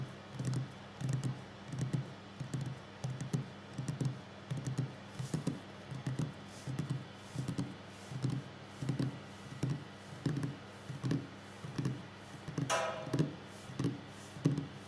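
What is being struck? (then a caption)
Wooden tabletop. The fingertips and finger pads of both hands tap quickly on a solid wooden tabletop, making a steady stream of soft, low, hollow knocks centered around 150 Hz with short decays. A brief higher brushing sound cuts in near the end.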